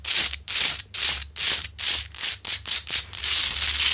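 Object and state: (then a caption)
Himalayan salt lamp being scratched. Long acrylic nails scratch up and down the rough, crystalline front of a large, solid rock-salt Himalayan salt lamp. The result is a quick series of bright, hissing scrapes, one after another, that blur into a steadier rasp toward the end.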